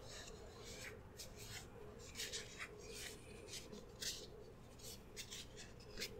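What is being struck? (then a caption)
Soft plastic squeeze tube. A small turquoise soft plastic squeeze tube of AHAVA hand cream, hollow and partly full, is held in both hands and rubbed and squeezed with fingertips and short nails. Quiet, bright scratchy rasps and crinkly plastic rubs come in short bursts over a steady low hum. The sound stays soft and close throughout.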